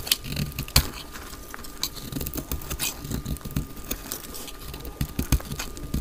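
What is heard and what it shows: A solid, palm-sized translucent green glycerin soap bar held in the hand has a blade pressed into it, shaving and cutting it. Quick, crackly scraping is heard, with many short crisp snaps over a low rumble and a faint steady tone throughout.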